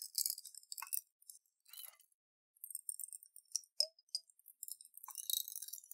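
A clear glass jar with a metal lid, holding water and beads, is held sideways and shaken by hand so the water and beads rattle inside. Soft, bright clinks and sloshing rattles come in irregular bursts separated by brief silences, with almost no low end.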